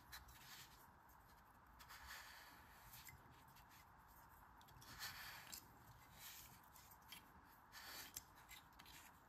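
Green kinetic sand packed into a fist-sized stainless steel ice cream scoop is squeezed by a hand with long red nails. The hand presses the scoop handle while the scoop rests in an open palm, compressing and crumbling the sand. Quiet, bright, gritty crunching and rubbing against the metal bowl comes in irregular swells.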